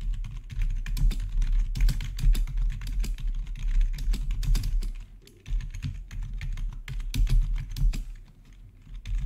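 Both hands' fingertips type rapidly on the keys of a full-size black plastic RGB backlit gaming keyboard with a hollow housing, recorded close up. A dense stream of short, clacky taps sounds over a steady low hum. There is a brief lull around the middle before the typing resumes.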